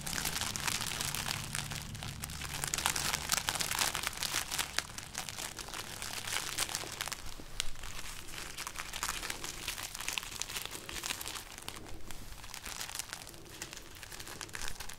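A string of dried, papery red chili peppers is held up in one hand while the other hand's fingers shake and rub it. The result is dense, bright crinkling and crackling with quick, dry rustles that continue steadily for the whole clip.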